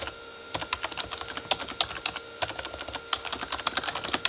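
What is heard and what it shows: Both hands type with their fingertips on a full-size, hollow Corsair K35 backlit keyboard with plastic keycaps on a plastic body. After a quiet half second, a steady stream of short, bright, clacky key taps follows, each dying away almost instantly. A faint steady hum sits underneath the taps.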